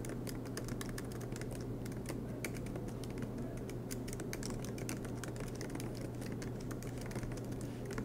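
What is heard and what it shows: Both hands type continuously with their fingertips on the black plastic low-profile keys of a MacBook Pro laptop with a silver aluminum body, resting on a green desk mat. Rapid, light key taps click steadily over a constant low hum for the whole clip.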